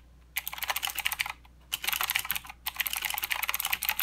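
Both hands type with their fingertips on a full-size mechanical keyboard with white, black and green plastic keycaps and blue clicky switches, resting on a desk mat. Three rapid bursts of bright, sharp clicks are separated by two brief pauses. Each click is crisp and dies away almost instantly, with very little low end.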